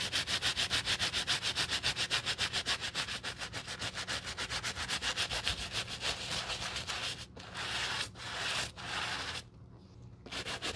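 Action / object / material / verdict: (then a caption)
scrape / rubber shoe sole scrubbed with a bristle brush / rubber / none. Gloved hands vigorously scrub a solid black treaded rubber shoe sole, covered in cleaning foam, with a wooden-handled bristle brush. About 31 quick, steady back-and-forth strokes make a bright, hissy scratching rhythm for the first seven seconds. The brushing then slows into a few longer sweeps, pauses briefly, and resumes at the end.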